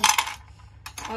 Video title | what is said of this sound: चूल्हे पर मिट्टी मुल्तानी और स्लेटी रोस्ट किया#trending #viral #multanimitti #multani #armaanmalik # | बहुत ज़्यादा क्रंची हो गई है